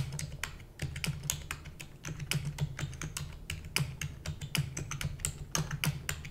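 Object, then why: Plastic computer keyboard. Rapid typing with long nails on a black plastic computer keyboard gives a fast, uneven stream of sharp, bright clicks that die away almost instantly. A steady low hum runs underneath the whole time.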